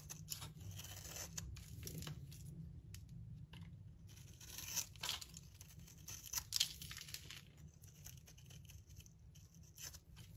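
A solid yellow bar of soap held in the hand is shaved and cut with a metal utility-knife blade, breaking into crumbly curls and flakes. Soft, dry scraping and crackly tearing run throughout over a steady low hum, with a few sharper, brighter crunches standing out about halfway through.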